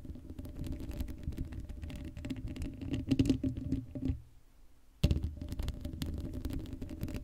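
Long acrylic nails scratch rapidly across the hollow black steel mesh grille of an uncovered Blue Yeti microphone, making a dense, rough patter with a heavy low rumble and a faint hum. The scratching builds slightly louder, stops briefly for a near-silent pause, then resumes with a sharp bump and carries on at a steady level.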